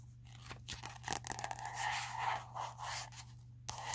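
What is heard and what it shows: Long acrylic nails tap and scratch the plastic cover of a small red spiral-bound notebook with a solid paper block, and its pages are flipped. Quick, irregular scratchy and crunchy bursts with bright, papery rustles ride over a steady low hum.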